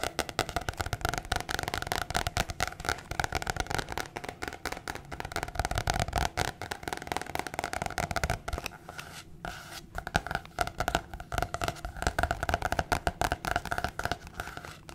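Long nails rapidly tap and scratch a thin, flat, hand-sized sheet of white card stock. The result is a dense run of quick, dry clicks and papery scratches with no ring, easing off briefly around the middle before picking back up.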